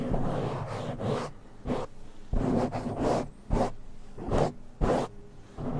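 Fingertips scratch and rub a black foam windscreen on a silver microphone with slower strokes. The result is close, bassy, muffled rustling in uneven bursts, with a few brighter, sharper scratches that stop quickly.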